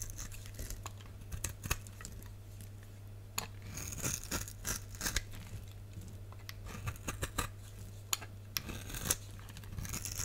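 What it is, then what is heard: Bar soap being carved. A box-cutter blade scrapes and carves the striped surface of a solid red soap bar with white stripes, held in the hand. The clip is full of crisp, bright scraping and shaving strokes with short, dry attacks. A steady low hum runs underneath throughout.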